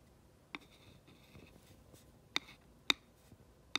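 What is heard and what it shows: Fingers with long nails hold a glass rod and slowly trace and scratch its rounded tip along the printed black lettering of a flat, rectangular, solid wooden plaque sign lying on a dark surface. Quiet, bright, dry scratching runs throughout, broken by four sharp, high ticks that die away instantly.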